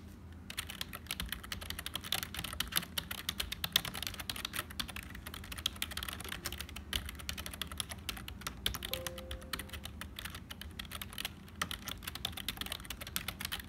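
Fingertips of both hands type continuously on a black HP full-size plastic keyboard with a hollow build. Rapid, bright, dry clicks and clacks follow one another in a steady stream with almost no ring, over a faint low background hum.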